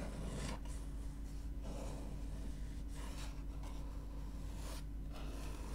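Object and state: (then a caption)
Paper book pages being scratched. Fingernails scratch and rub the beige paper pages of an open book near the spine. Soft, raspy scratching bursts come and go over a steady low hum, with brighter rustles at each stroke.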